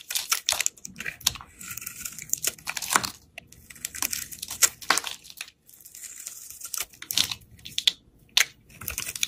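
A snap-off utility knife blade shaves thick slices off a solid rectangular green Lifebuoy bar soap held in the hand. Each cut makes a crisp, bright scraping crunch, like crinkling or tearing, with almost no low end. The strokes come in quick irregular bursts separated by short quiet pauses.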